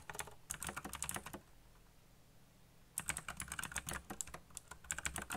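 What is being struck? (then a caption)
Plastic mechanical keyboard keys. Fingertips tap the keys of a backlit black plastic mechanical keyboard in fast runs of sharp, bright clicks. The typing stops for about a second and a half, leaving only a faint low hum, then resumes in another quick burst of clattering keystrokes.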